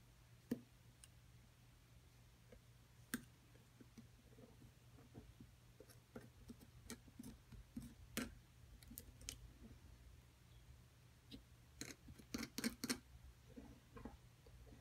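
A thin metal pick scrapes and taps at a smaller remaining solid plaster block, held by a long-nailed hand, working around the items embedded in it. Quiet, dry clicks and short scratchy taps come in irregular bursts, bunching up near the end, with no ring after each hit. A steady low hum runs underneath throughout.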